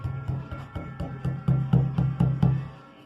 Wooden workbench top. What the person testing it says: It sounds like it's hollow if you hit it, because there actually is a gap in between the areas where I screwed it down.